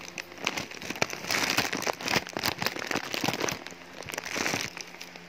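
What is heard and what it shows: Hands and fingertips crumple and handle a thin black polyethylene shipping mailer with a printed paper label and contents inside while opening it. Dense, bright plastic crinkling comes in quick crackling bursts that swell louder in waves, with little low end, and ends in a quieter faint hum.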